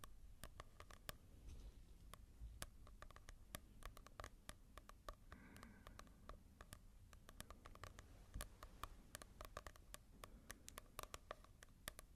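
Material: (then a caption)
Coated paper. Fingertips tap and scratch on a manga volume with a glossy cover, in comparison with a matte one. A quiet, rapid stream of short, dry clicks with bright edges rides over soft scratching and a low background hum, and each tap dies away almost instantly.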